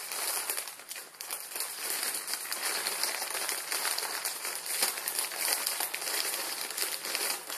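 A Maruchan instant ramen packet, plastic film with dry noodles inside, is held up and crinkled and squeezed between the fingers of both hands. The result is a steady, bright crinkling and crackling, mostly high with almost no low end, rising and falling in small bursts throughout.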